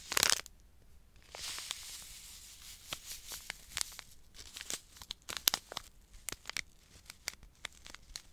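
A small, full, sealed Emergen-C foil-and-paper powder sachet is held in both hands while fingers crinkle and rub it. A loud, bright crackle opens the clip, followed by a soft, hissy rubbing and then a steady run of sharp, dry crinkles with almost no low end.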